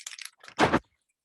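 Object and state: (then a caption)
Spray paint can with mixing balls rattling inside. A metal spray paint can is shaken, and the two mixing balls inside rattle as they mix the paint. A few quick, light rattles are followed by a louder, longer burst of rattling before it stops.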